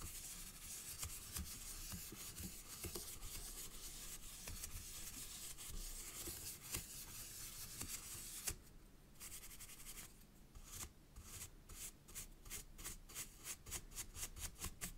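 A soft pink-handled makeup brush strokes the raised flower relief of a solid square plaster wall picture in a wooden-look frame. The result is a steady, bright brushing and rubbing hiss. In the second half, the strokes turn into a series of distinct short swishes.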